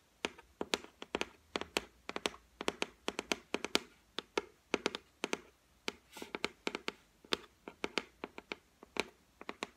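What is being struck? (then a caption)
Laminated board shelf. Long nails tap on the flat white laminate top of a solid shelf board, making about forty quick, dry clicks in uneven bursts and runs. Each tap is sharp and bright, with a light mid-pitched knock and almost no ring. The taps stop at once against a quiet background.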